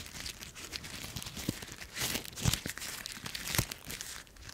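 Dry brown autumn leaves are held in the hand and crushed in the fist, then a fragment is pinched between the fingertips. The result is a continuous, bright, dry crinkling and crunching, with a few louder crunches standing out.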